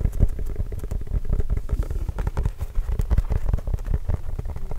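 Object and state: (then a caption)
Leather basketball. Fingertips tap rapidly on a hollow, inflated Spalding Trail Blazers autographed leather basketball. They make a steady stream of soft, deep, hollow thumps centered low around 100 Hz, each dying away almost instantly. The sound has very little high-end brightness.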